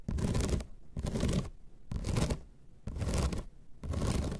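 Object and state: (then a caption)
Bamboo placemat scratched. Long red nails scratch across the ribbed surface of a flat bamboo slat placemat in five separate strokes. Each stroke is a dense, raspy scrape that is heaviest in the low range but spreads up into a bright hiss, with short quiet gaps between strokes.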